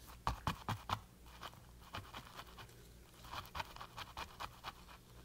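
A flat paintbrush with a metal ferrule is pressed and scrubbed across a textured canvas panel coated in wet green paint. About 13 short, uneven strokes of scratchy, bristly rubbing come through, the first few loudest. Quieter scrubbing fills the gaps over a faint low hum.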